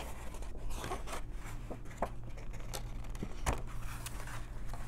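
Long nails riffle and flip through the stack of paper pages in an open coloring book, rubbing along their edges. Soft, dry papery flicks and brushing rustles come in quick bursts over a steady low hum, with one slightly sharper snap near the end.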